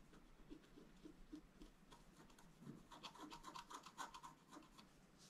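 The tip of a thin wooden stylus, held in the fingers, scratches a flat black-coated scratch-art card (a book page about A4 size) lying on a cloth. Quiet, irregular rubbing strokes come at a quick pace. After about three seconds they turn louder and brighter, with a thin squeaky tone near 1 kHz.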